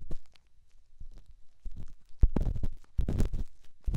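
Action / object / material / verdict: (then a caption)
scrape / rough stone on silicone / stone / none. A small, solid, grey, rough rock held in the fingertips is rubbed and scratched against the silicone ear of a binaural microphone. The result is close, muffled, deep scraping and crunching with short scratchy bursts. The sound grows denser and louder in the second half of the clip.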